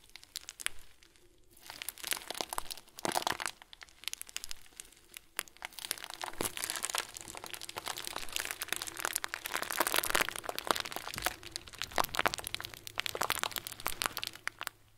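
A hand-sized clear plastic bag full of small white plastic pearls is squeezed and crinkled with the fingers and thumb. It gives dense, bright crinkling and crunchy rustles with quick clicking ticks, starting in short bursts and building into a steady, continuous crinkle.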